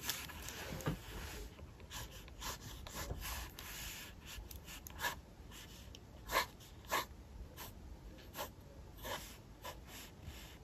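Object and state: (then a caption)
Pencil drawing on a sketchbook page. A mechanical pencil held in the fingertips draws lines on the blank white page of an open paper sketchbook lying flat on a desk, scratching graphite across the paper. Short, bright scratchy strokes come one after another over a quiet background hiss, with a few louder, sharper strokes standing out.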